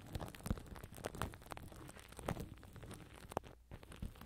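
Fingertips and nails scratch and rub clear plastic cling film stretched tightly over a black microphone grille with hollow mesh underneath. The result is a quiet stream of crinkly, crackling rustles and scratchy, tearing-like scrapes, punctuated by soft low thumps as the film presses on the mesh.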